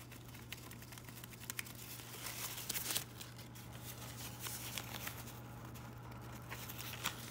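Fingertips and nails pinch, rub and crinkle the thin leaves of variegated fabric-plastic artificial ivy on wire stems. The result is quiet, bright crinkling and rustling with scattered sharp ticks and crackles, over a steady low hum.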